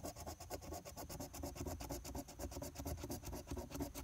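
A coin's edge is rubbed rapidly back and forth across the latex scratch coating of a thin paper lottery scratch-off ticket, number 030. The strokes make a steady, gritty scratching rasp with a bright hiss on top and a soft low rumble underneath. Scratching away the coating reveals the numbers beneath.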